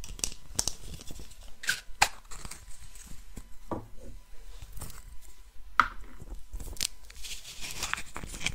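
A small, hollow, painted wooden Russian nesting doll is held close and tapped and scratched with long nails, its halves twisted against each other. Crisp dry taps and bright scratchy rasps sound out, several separate clicks standing out sharply, with a faint grinding as the halves turn.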